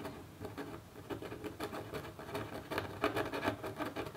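A metal stylus in a red holder makes small, repeated scratch strokes on a flat copper scratch art sheet near the head of a hummingbird design. The strokes come as quiet, quick, irregular scratchy rasps, mostly in the midrange with some brighter edges, each fading almost at once.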